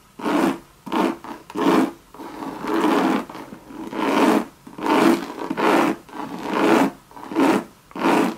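Long, very sharp red nails scratch and rub a Louis Vuitton monogram coated-canvas bucket bag lying hollow on its side, working over the canvas and the base. Irregular bursts of dry, papery rasping come with short pauses between them; each stroke carries a low-mid tone around 340 Hz with a brighter scratchy edge and stops almost at once.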